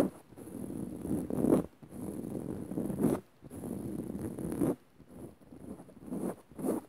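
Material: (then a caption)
Fabric. Long rounded nails of both hands scratch fast across the dark woven fabric of a soft, padded upholstered cushion. The result is a dense, dry rasping hiss, centered in the low-mid range with a faint bright edge, coming in a few long bursts separated by short pauses.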